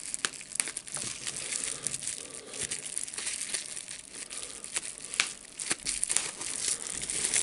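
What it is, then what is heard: Plastic bubble wrap. A small bunched piece of clear plastic bubble wrap is held between both hands while the fingers squeeze, pop and crinkle it. A steady, bright crinkling hiss runs throughout, broken by sharp, short pops scattered across the clip, with almost no low-end weight.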